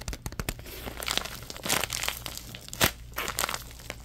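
A thin orange plastic bag is balled up and crinkled in the hands, giving dense, bright crackling bursts that flare and fade over a faint steady low hum. The crinkles come in irregular clusters, with the sharpest crunch near the end.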